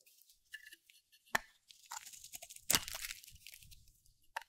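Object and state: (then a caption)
Dry soap bar being cut. A metal utility blade cuts and shaves a solid, round, dry cream soap bar held in the hand. Irregular bursts of bright, crunchy scraping and sharp cracks come through, with a few louder snaps standing out. The cuts sound dry and brittle, and each crack dies away almost at once.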